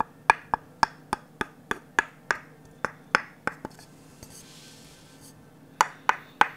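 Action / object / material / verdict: tap / varnished wooden ladle tapped with a wooden stick / wood / none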